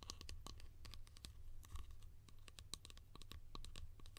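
A small, hollow yellow plastic lid held in the hands is tapped and scratched rapidly with long painted nails. Quick, bright clicks and scratchy strokes sit over a steady low rumble, each click dying away almost instantly.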